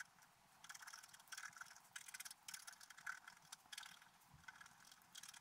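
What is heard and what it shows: A wooden stylus scratches details into a flat, black-coated scratch art paper page. The result is a series of dry, bright, raspy scraping bursts with short pauses between strokes, mostly high hiss with almost no low end.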